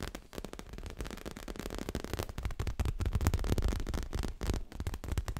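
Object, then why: Leather-covered stuffed cushion. Long fingernails rapidly tap and scratch a soft, stuffed, dark grey leather-covered pillow. A quick, uneven stream of dull, low-pitched thuds, each dying away almost instantly, mixes with faint scratchy rustling and grows somewhat louder toward the middle.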